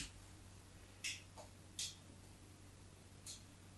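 A craft knife's metal blade scores and scrapes lines into a small, solid white bar of soap held by hand on a patterned cloth. Three short, bright scratching scrapes and one fainter one stand out over a quiet, steady low hum.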